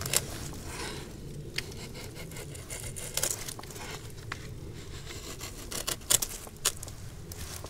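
A hand-held flat steel file or rasp scrapes back and forth across the freshly shaved, pale bare section of a large solid log with lichen-covered bark. Soft, bright rasping is broken by a few sharp, brief clicks over a low, steady background rumble.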